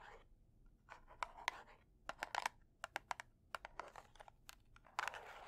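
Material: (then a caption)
Cardboard. A closed red cardboard kitchen matchbox, held upside down in both hands, is tapped and scratched with long dark nails. Quiet, dry scratching alternates with a quick series of sharp, crisp taps that stop almost instantly, centered around 1 kHz with bright edges and little low end.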